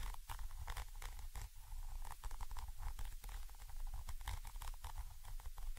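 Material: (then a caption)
Metal mesh. A thin orange stick, held vertically, scratches across the metal mesh grille of a Zoom H5 X/Y microphone capsule. It makes a dense, continuous scratching patter over a heavy low rumble, with short bright scrapes flicking through close to the mic.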